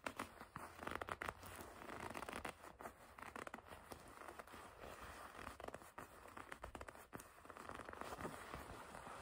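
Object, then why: Leather jacket panel. A black leather jacket panel is gripped and squeezed with long red nails, making quiet, dense crinkling creaks and scratchy rustles. Many quick, dry crackles and taps run steadily throughout with no ring.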